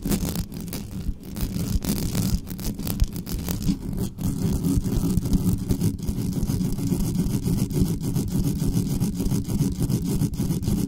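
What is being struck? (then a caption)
Metal microphone grille. Long nails scratch quickly and aggressively across the top of the uncovered grille of a dark metal USB condenser desktop microphone. The result is a dense, continuous rasping texture dominated by a heavy, boomy low rumble, with rapid scraping strokes that briefly dip around four seconds before growing slightly fuller and steady.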